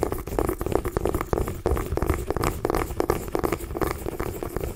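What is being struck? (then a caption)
Small pumpkin gourd. A small orange mini pumpkin, a hollow gourd held in both hands, is scratched and tapped with long nails. A steady run of soft, dull taps and scratchy rubbing blends together, with a muffled, hollow low-mid tone and little bright content.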